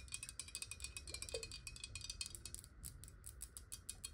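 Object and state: Glass bottle.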